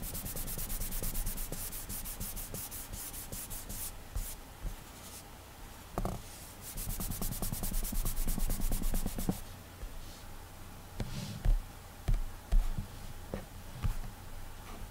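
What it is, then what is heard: Glass tablet touchscreen being rubbed. Fingertips rub and swipe continuously across the large flat glass touchscreen of an iPad while drawing hair strokes. The sound is a soft, dry, rapid brushing with a bright hiss in the first few seconds, settling into quieter swishes. It is dotted with low, dull bumps and taps, the clearest around the 11 to 13 second mark.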